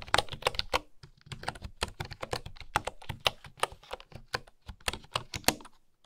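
A bamboo keyboard with bamboo keycaps is typed on by fingertips with long nails, giving quick, dry clicking taps. The clicks come in uneven bursts with brief pauses, each tap short and sharp with a bright edge and a little low thump underneath.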